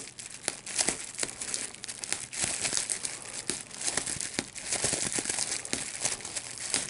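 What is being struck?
Plastic bubble wrap sheet.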